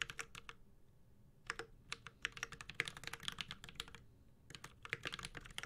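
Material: Aluminium, plastic.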